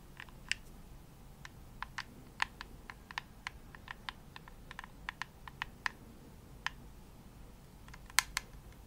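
Long nails tap the shell of a hollow, pink glossy plastic Xbox controller held near the face. The result is a quiet, irregular series of sharp, dry clicks with a bright tone and no ring, over a low background hiss.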